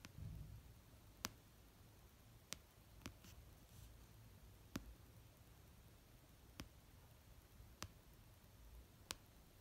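Long painted nails slowly tap and lightly scratch the cover of an orange paperback novel resting on a blanket. Several sharp, dry, bright clicks ring out one by one with long pauses between them, each dying away almost instantly. Between the taps there is only a faint low hush.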